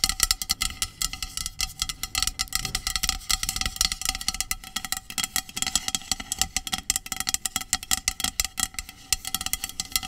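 Long pink nails rapidly tap and scratch the body of a hollow, medium-sized aluminum dry shampoo aerosol can with a plastic cap. The result is a dense run of quick, bright metallic clicks with very short ring, over faint steady resonant tones and a scratchy hiss.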